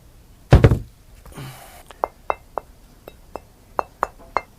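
A stone being worked by a flintknapper is struck: two heavy, low thuds and a brief scraping sound are followed by eight short, sharp taps, each with a clear high-pitched ring. The nice ring and high pitch mark it as good, high-grade knapping stone.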